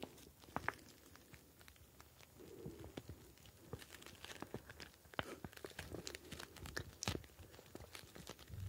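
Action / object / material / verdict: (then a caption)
shake / plastic pouch filled with gel beads / plastic, gel / none. A clear plastic ice pack pouch filled with blue gel beads is squeezed and kneaded with the fingers for about nine seconds. It makes quiet, crunchy, crinkling crackles: many short, sharp clicks over a soft, low rustle, with a few louder snaps.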